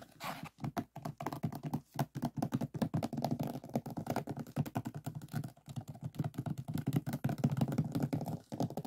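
Fingernails rapidly scratch and tap across the resin drills of a finished diamond painting lying on a flat board. They make a dense stream of short, dull, dry clicks and scrapes. The sound is mostly low and muffled, with each tap dying away almost instantly.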